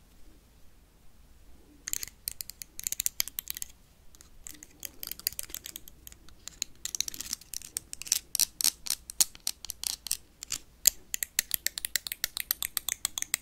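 A blue plastic toy lightsaber is tapped and scratched with paperclips. After a quiet first two seconds, fast bursts of sharp, bright clicks and scratchy rasps follow in dense runs, each hit dying away almost at once with almost no low end.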